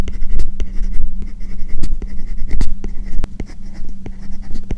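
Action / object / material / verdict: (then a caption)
scrape / plastic stylus tip on a matte plastic screen film over tablet glass / plastic film / none. A hand writes lines of English with a hard plastic stylus tip on a tablet covered by a matte plastic paper-like screen protector over the glass screen. The result is a steady scratching, rubbing stroke sound with short bright ticks as the tip lands and lifts, running over a faint constant low hum.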